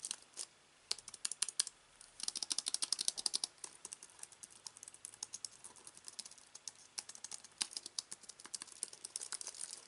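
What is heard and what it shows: Fingertips of both hands type continuously on a slim aluminium and plastic wireless keyboard with white keys resting on fabric. The keystrokes come as rapid, bright, dry clicks with almost no ring, broken by a couple of short pauses early on before settling into a steady patter.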